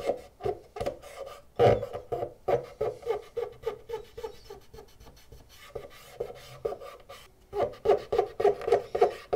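A cotton swab is scraped repeatedly along the ribbed plastic edge grooves of a hollow black plastic PlayStation 2 Fat console while the other hand holds the unit steady. The result is a fast, uneven run of short, dry, raspy strokes centered in the midrange, with little bass and almost no ring after each stroke.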